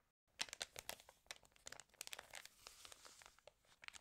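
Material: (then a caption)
Glossy paper. Fingers lift, turn and crinkle the pages of an open, water-damaged glossy paper fashion magazine. After a brief silence, a quiet, rapid run of sharp, bright crackles and crisp rustles follows, each snap dying away almost instantly, with little low-end body.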